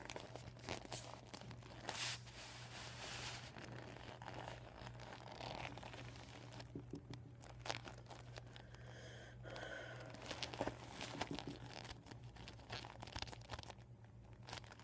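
Fingertips and short painted nails tap and scratch a flattened, empty, deflated PVC vinyl beach ball lying on a table. The result is quiet, dry crinkling and scratchy rustles with soft taps and brief sharper crunches, all over a steady low hum.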